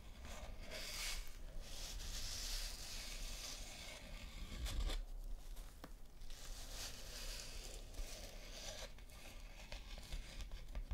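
Long nails scratch across and tap on a thin printed paper postcard lying flat. A soft, steady scratchy rustle with bright hiss rises and falls, broken by a few sharper taps near the middle, over a faint low rumble.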